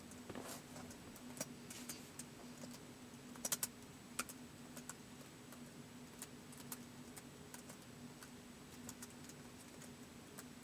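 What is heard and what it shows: Fingertips slowly tap the keys of a white plastic laptop keyboard, making quiet, bright, sharp clicks that die away almost instantly. Irregular soft keystrokes are spaced across the clip, with a few louder taps near the middle. A faint steady low hum runs underneath throughout.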